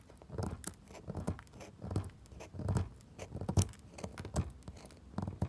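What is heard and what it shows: A pointed metal tool scratches and picks at a solid, pale pink NIVEA bar soap resting on a wooden table. Soft, dull scraping comes in irregular bursts, with occasional sharper, brighter clicks as powdery chips come off.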